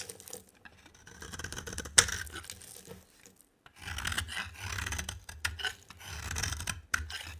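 A dry rectangular cream and green soap bar is shaved with a box cutter blade. Bright, rasping scraping strokes come in bursts, with one sharp snap near the start and a short pause midway.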